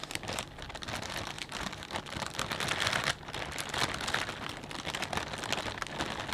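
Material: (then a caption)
Plastic. A clear plastic bag full of potato chips is held at the edges and squeezed. It gives a steady, dense crinkling with bright crackles and sharp snaps throughout, with a brief dip in level just after three seconds.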